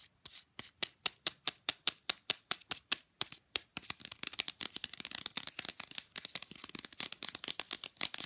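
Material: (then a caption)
Plastic. Long nails tap and scratch rapidly on the face and edges of a small, rigid, flat rectangular printed picture fridge magnet held up close. Crisp, bright clicks come in a steady series of distinct taps at first, then break into a faster, denser flurry of tapping and scratching. Each click is dry and short, with almost no low end.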